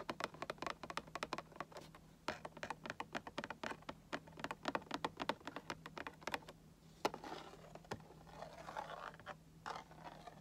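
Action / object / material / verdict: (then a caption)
tap / Cardboard collectible box / cardboard / none. Fingertips and nails tap and scratch along the top of a hollow, printed cardboard Funko Pop box. Quick, dry, light taps come in a rapid, uneven series, then give way to a softer scratching rustle across the cardboard. A faint steady low hum runs underneath.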